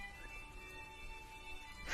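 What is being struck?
Nothing is struck.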